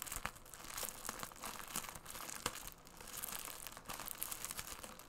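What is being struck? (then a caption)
Bubble mailer wrapped in plastic film. A medium bubble mailer, tightly wrapped in clear plastic film and held upright in both hands, is crinkled and scratched with fingertips and nails. It makes a dense, bright crackle of plastic crinkling and scratchy rustling, broken by sharp snaps that die away almost at once.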